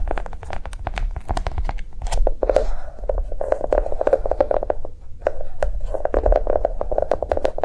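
A notebook made to look like a bar of chocolate is tapped quickly and continuously with fingertips, producing a rapid stream of soft, dull taps. The taps land close together in uneven bursts, over a steady low-frequency undertone.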